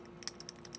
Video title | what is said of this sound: What to look for when buying a vintage watch online (Ebay) | you just got to shake it and you will hear the bumper automatic on these